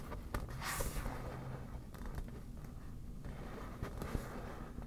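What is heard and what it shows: Long black natural nails tap and scratch the taut surface of a hollow, air-filled yellow smiley-face inflatable vinyl (PVC) beach ball held on a table. Soft, dull low thumps sit under a steady scratchy rustle, with a brief brighter swish early on. The taps die away almost instantly.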